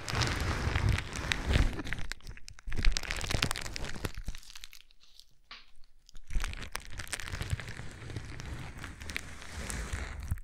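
A sheet of clear plastic bubble wrap is held against a microphone and crinkled and rubbed with fingertips. Dense crinkling and crunching crackles are heard over a heavy low rumble, easing to a quieter patch in the middle before the rubbing picks up again.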